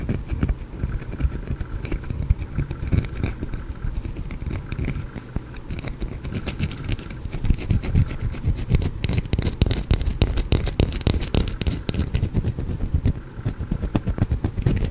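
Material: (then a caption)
Soap. Fingernails scratch and crumble a small solid green soap bar right next to the microphone. They make a dense, continuous stream of crackly scraping with rapid clicking bursts, heavy and close in the low end. The activity grows busier and sharper in the second half.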